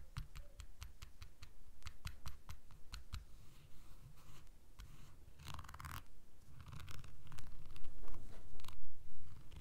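A fingernail taps and scratches a small, puffy butterfly keychain densely covered in blue rhinestones, which lies on a red cloth. The first half is a quick run of crisp, evenly spaced clicks. The second half turns into louder, rougher bursts of scratching.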